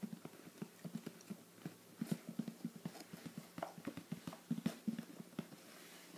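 A closed, hollow, shoebox-sized teal printed cardboard "Treats" subscription box is held in one hand while fingertips tap quickly on its lid. The taps are soft, dull and hollow, with a low thud around 200 Hz that dies away almost instantly, coming in an irregular, rapid patter. Whether the box is full cannot be seen.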